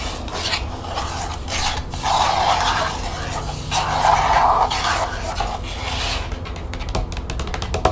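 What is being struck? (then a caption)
Plastic expanding folder. Long nails scratch and tap along the riveted spine and panels of an opened green plastic expanding folder. Rasping, papery scratches come in bursts, loudest in two stretches near the start and middle, over a steady low hum. They give way to quick, sharp, bright taps toward the end.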